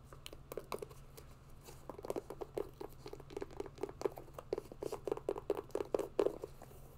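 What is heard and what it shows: A grey mesh and synthetic hiking sneaker is held in the hands while long nails scratch and tap its upper and laces. Quiet, rapid, dry taps and crinkly scratches come in uneven bursts, centred in a muted midrange around 400 Hz. Each tap stops dead with no ring, over a faint steady low hum.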